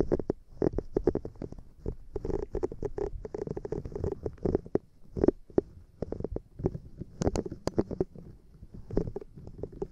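Long painted nails scratch and tap the bristled side of a small, solid, soft light-blue silicone scrubber pad held bristle side toward the mic. It makes a quick, dense stream of soft, dry, muffled taps and scratchy rustles centered in the low mids, with a faint high hiss above. A few sharper taps stand out near the end.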